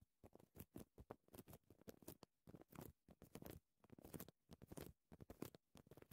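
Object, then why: Paper care label lying on fabric. Short dark green-painted nails from both hands tap and scratch a thin printed paper care label lying flat as a strip on dark fabric. The result is a quick, uneven patter of soft, dry ticks and brief scratchy rustles, mostly low and muted with short bursts of bright crackle, each dying away almost instantly.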